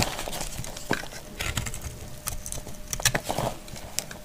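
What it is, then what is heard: Dry soap bar scraped with a blade. A palm-sized, solid, dried pink speckled soap bar is held in the hand and scraped and cut with a utility knife blade. The clip is a run of dry, crisp scrapes and crunchy cuts with bright, sharp edges and very little ring. Crumbly shavings fall away as the blade works through the bar.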